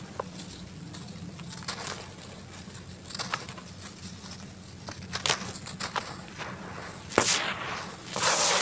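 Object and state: Dry cement-dirt clumps being crumbled.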